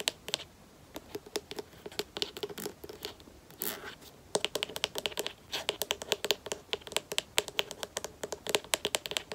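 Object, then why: Plastic lotion bottle with plastic cap. Long nails tap and scratch the black plastic cap of a white plastic lotion bottle, then tap along the bottle body held sideways. The sound is quick, sharp, bright clicks with a brief scratchy rasp partway through, and the taps grow denser and faster in the second half. The clicks are dry and die out almost at once.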